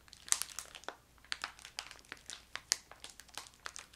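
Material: Plastic.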